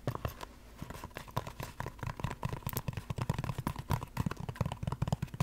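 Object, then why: Foam resin clog. Long black nails tap and scratch rapidly on the chunky sole and upper of a single white Crocs clog, a hollow shoe shape of molded foam resin. The result is a quick, uneven run of soft, dull, low thuds mixed with brief dry scratches and a faint steady tone near 1 kHz, with almost no ring after each tap.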